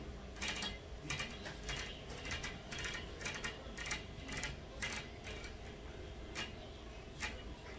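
Long fingernails of both hands tap and scratch on the outer surface of a large, flat glass hotel window pane. The sound is a quiet, irregular run of sharp clicks and brief scratches, bright around 2 kHz, over a low, steady background hum.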